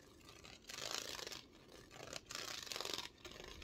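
A thin, flat, heart-shaped Valentine gnome sign made of cardboard, with a ribbed holographic foil surface and a red bow, is held in one hand and scratched and tapped with long red-painted nails across the ribbed foil. Bright, crinkly scratching comes in repeated bursts separated by short quiet gaps. There is little low end and almost no ring after each stroke.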